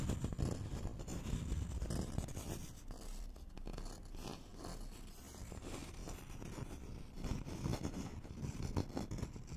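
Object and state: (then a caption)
Thin wooden board scratched with fingernails. A thin, flat, solid wooden notched trowel board is scratched with fingernails across its face and along its edge. It makes a continuous dense, low rasping scratch with quick repeated strokes. The sound is mostly deep and muffled, with little high brightness.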